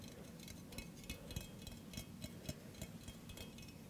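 A hollow stainless steel mug with a handle, held in the hand, is tapped with fingertips and nails. The result is a quiet, irregular run of light taps, each a short bright click over a soft low thud that dies away almost at once.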